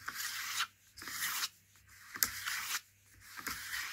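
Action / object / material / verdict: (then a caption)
scrape / cardboard juice carton / cardboard / none. Fingertips rub and scratch along the side panel of a Princes cardboard juice carton that has been turned over. Four bright, papery scraping strokes are heard, separated by brief quiet pauses.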